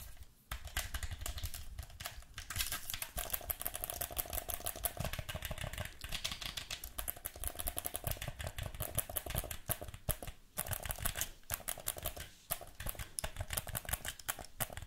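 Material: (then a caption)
Plastic. A black plastic gamepad is held in both hands while the thumbs click its buttons and sticks and the fingers press the triggers. The result is a dense, fast stream of short, dry plastic clicks and taps, with a few brief pauses. The clicks have a bright top and a soft low thump underneath.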